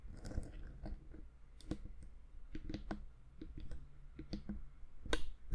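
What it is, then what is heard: Plastic recorder housing tapped with fingernails. A black plastic Zoom H6 handheld audio recorder with knobs and metal mic capsules, a hand-sized hollow electronic housing, is held in one hand and tapped with long manicured fingernails on its front panel and sides. The result is a series of short, sharp clicky taps with crisp bright edges over a steady low rumble, each dying away almost instantly.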